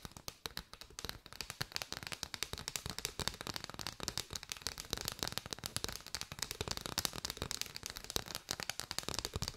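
Long white nails tap rapidly on an arched bundle of striped paper straws. The result is a dense stream of sharp, dry, bright clicks that stop instantly with no ring, layered into a continuous crackling patter with little low end.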